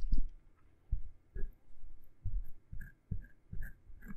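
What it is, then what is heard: Silicone microphone ear, scraped inside. A thin metal ear pick, held by long-nailed fingers, scratches and pokes inside the ear canal of one of a pair of soft, rubbery, skin-coloured silicone ears on a binaural microphone. Irregular bursts of deep, muffled rubbing and thumping follow one another, each fading quickly. Faint bright clicks ride on top of the low scraping.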